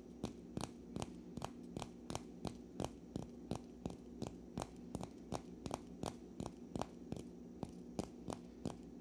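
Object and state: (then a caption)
Natural cork wine stopper. A single small, solid natural cork wine stopper, held in both hands above a pile of corks, is rubbed and scratched by fingertips and nails. About 24 short, dry, bright scratches come at a quick, uneven pace over a faint, steady low hum. Each scratch stops instantly with no ring.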